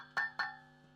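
Taps on one of a set of four matched power valves (vacuum tubes) running warm in a valve tester, checking for internal rattle. Three short, bright, ringing ticks are heard over a steady electrical hum, with only slight rattle. These valves are judged pretty good.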